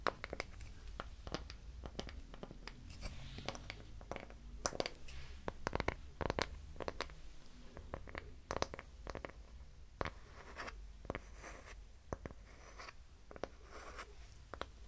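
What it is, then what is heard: Wooden block scratched. A small, light, solid wooden hexagonal block is held in both hands and scratched with fingernails. The result is a quiet run of dry, brief scratches and ticks with bright edges over a low, steady background rumble.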